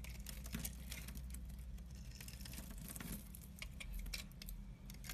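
A utility knife blade shaves and scrapes a hand-sized, solid black bar soap with orange and white stripes held in the hand, leaving curled shavings. Quick, crisp scraping ticks and bright, brushy shaving strokes run steadily over a low, constant hum.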